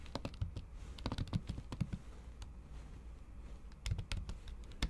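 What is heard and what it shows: A MacBook keyboard covered by a thin pink patterned plastic or silicone cover is typed on with the tips of long acrylic nails in fast, repeated taps on the solid keys beneath. Quick bursts of short, dry, muffled clicks with a dull low thud and a faint bright tick stop almost instantly. A quieter lull in the middle is followed by another flurry.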